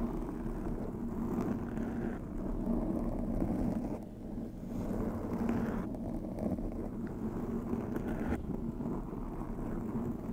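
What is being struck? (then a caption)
Foam microphone windscreen. Long acrylic nails scratch with both hands across the soft, porous black foam windscreen on a white USB microphone. The result is a continuous, muffled, rumbling scratch heavy in the low and low-mid range, with a faint steady tone and almost nothing bright. It dips briefly in loudness about four seconds in before resuming at a steady level.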